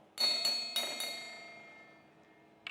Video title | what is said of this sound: 7 de maio de 2020 | o som fininho né como por exemplo o som produzido por esse copo de metal